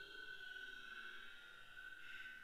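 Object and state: Nothing is struck.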